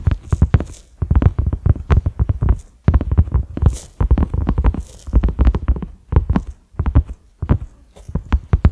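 A large, flat cream silicone pot lid with concentric ridges and a black center knob is tapped quickly with the fingertips and short nails of both hands. The taps come in dense bursts of soft, dull, low thuds that stop almost instantly, separated by brief pauses.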